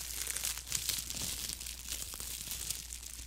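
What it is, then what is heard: Thin plastic film glove being crinkled. A thin, clear plastic disposable glove worn on the hand is crinkled, scrunched and rubbed by the gloved fingers close to the microphone, its light, hollow, loose film crackling continuously. The sound is a dense, bright rustle of fine crinkles with a few sharper snaps, over a faint steady low hum.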